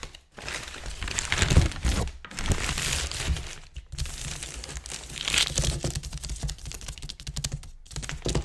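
Fingertips and nails scratch and rub a large, thin, crinkled sheet of white-grey tissue or wrapping paper lying flat on a table. Dense, bright crinkling and rustling comes in fast bursts with a low rumble underneath, broken by brief pauses near 0.3, 2.2, 3.8 and 7.8 seconds.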